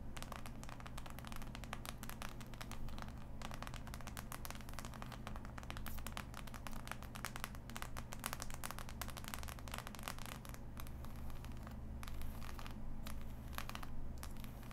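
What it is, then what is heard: Cardboard jigsaw puzzle. Long nails scratch and tap across the glossy surface of a large, flat, assembled cardboard jigsaw puzzle, and some of its pieces rattle. Quick, crackly scratches and light taps run continuously over a steady low hum.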